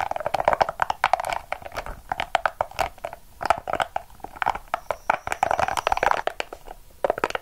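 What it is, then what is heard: Rubber spiky ball, squeezed and scratched. A small, hollow, yellow-and-purple soft rubber spiky ball is held in the palm and squeezed and scratched with long acrylic nails. Dozens of rapid, dry scratching and crinkling ticks are heard, with a mid-range squeaky tone around 740 Hz and bright, very short clicks that stop instantly without ringing.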